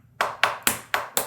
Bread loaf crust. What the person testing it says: it sounds like glass